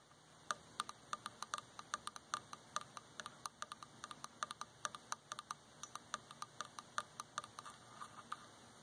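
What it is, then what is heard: Wooden object tapping. A wooden object is tapped in a quick, uneven run of sharp, dry ticks on a wooden surface, each with a bright click centered near 1.2 kHz that dies away almost instantly. The taps stand out clearly over a faint, quiet background.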